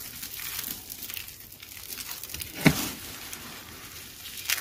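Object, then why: Soap flakes. Hands with long nails grab, squeeze and crush handfuls of thin, dry purple and teal soap shards and curls, crushed soap roses and boxes dusted with starch and glitter, rubbing them between fingers and palms. A steady, bright crinkling crackle runs throughout, broken by one sharp, loud crunch partway through and another burst of crackling at the end.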